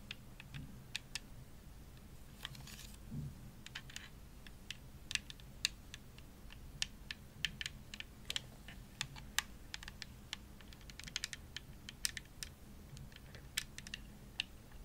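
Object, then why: Plastic game controller shell. Long nails tap the face of a hollow, purple glossy plastic Xbox controller shell. The result is a steady stream of quick, bright, clicky taps that die away almost instantly, over a faint low hum.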